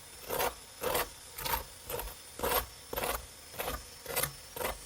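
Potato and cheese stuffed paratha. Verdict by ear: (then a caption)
Crispy. A cooked potato and cheese stuffed paratha is scraped or tapped to show how crispy it is, giving eight short, dry rasping scrapes at a steady pace. The crust sounds crisp.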